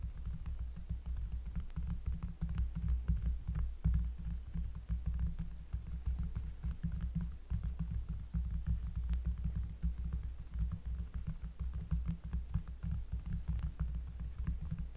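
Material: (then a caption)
Cork. A round, flat, solid cork trivet lying on a table is traced and lightly tapped with the fingertips of both hands, which have long nails. The result is a steady stream of soft, muffled, bassy thumps over a deep low rumble, with faint dry ticks on top and almost no ring after each touch.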